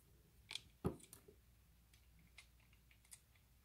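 A utility knife blade scores a grid into a solid, pale green bar of soap held in the hand and scrapes off flakes. Short, crisp cutting clicks and a few brief scraping ticks are spread across an otherwise quiet background. The loudest is a sharp, low-heavy snap just under one second in.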